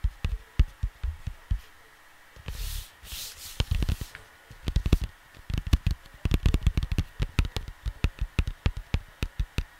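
Fingertips with short nails rub, scratch and tap across a large, flat, square printed cardboard LP cover lying on a desk, probably with a record inside, close to the microphone. Dozens of quick, dull, low thumps with short bright clicks are broken up by a few longer brushing scrapes early on, then the tapping grows denser and more rapid.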